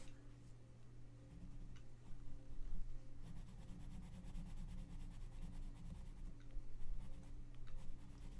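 A gloved hand shades a thin page of an open paper coloring book lying flat, rubbing a colored pencil back and forth. Soft, scratchy pencil strokes rise and fall over a steady low hum.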